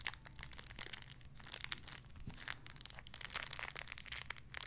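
A small clear crinkly plastic bag holding a soft pink squishy toy is crinkled with fingertips and nails. Dense, bright crackling crinkles come in quick bursts over a steady low hum, with the rustling growing busier toward the end.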